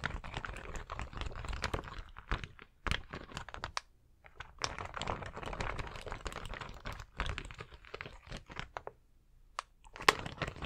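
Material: Acrylic plastic.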